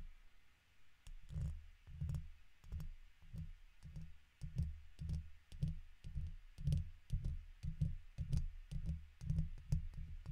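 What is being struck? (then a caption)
Metal mesh microphone grille. A red plastic guitar pick held in the fingers scratches the sides of the hollow woven metal mesh grille on a silver condenser microphone. It makes a steady series of short, deep rumbling scrapes, each with faint bright clicks on top, repeating at an uneven walking pace.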